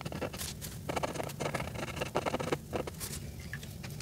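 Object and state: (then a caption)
Marker scratching on a paper page. A grey Sharpie felt-tip marker colors a flat paper coloring page near Santa's face, its tip scratching back and forth across the paper. Dry, scratchy strokes come in quick bursts with a low, steady hum underneath.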